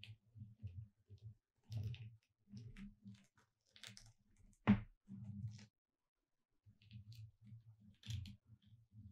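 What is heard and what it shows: Long red nails tap along the letters at the left end of a thin, solid gold-glitter-coated foam "Merry Christmas" cutout sign lying on a dark cloth. Quiet, dull clicky taps come in quick clusters, with one sharper, brighter tap standing out near the middle and brief silences between groups.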